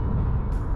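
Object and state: Nothing is struck.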